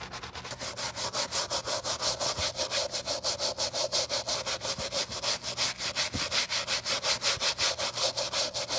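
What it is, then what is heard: Leather sneaker sole scrubbed with a brush. A Saint Laurent white leather sneaker with a crepe rubber sole is held in black-gloved hands while the sole edge is scrubbed with a wooden-handled bristle brush and soap foam. Quick, steady back-and-forth brush strokes make a bright, hissing scrub with a soft wet edge, repeating at a fairly even rhythm throughout.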